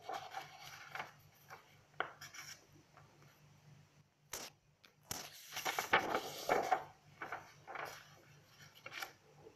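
Long acrylic nails scratch and rub across the page of an open lined paper notebook lying on a table, giving soft, dry scratches and rasping strokes. Midway a page is lifted and turned, bringing a louder, brighter burst of papery rustling before the quieter scratching resumes over a faint steady low hum.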